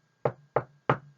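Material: Wood.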